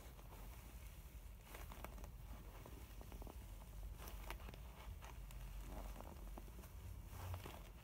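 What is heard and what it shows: Long nails scratch a filled, mint textured faux leather cosmetic pouch while fingers squeeze and rub its surface. Soft, crackly scratches and crinkly rustles come in short bursts over a steady low rumble, at a quiet, even level throughout.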